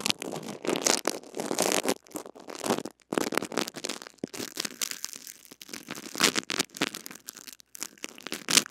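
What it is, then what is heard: Plastic-wrapped mini microphone being brushed. A small blue-bodied mini microphone with a metal-mesh head, wrapped in clear plastic cling film and held in the fingers, has its wrapped mesh head scratched and rubbed by a small white cleaner brush with stiff bristles. Dense bursts of bright, crinkly scratching and crackling rustle come right against the mic, with almost no low end. Each stroke cuts off with no ring.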